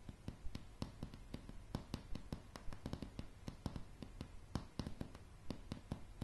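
Long polished fingernails on both hands tap quickly and irregularly on a solid floor of light pine floorboards. Each tap is a short, dry click with a low, woody thump underneath that dies away almost instantly, against a quiet background.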